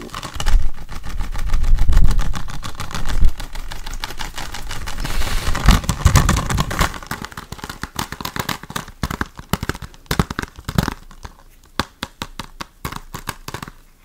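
A hollow blue plastic Ghostbusters Blu-ray case, possibly still shrink-wrapped, is held in the hands and tapped and scratched quickly with fingertips and nails. Dense, dry clicks and scratches run together at first, then thin out into sharper, more separate taps.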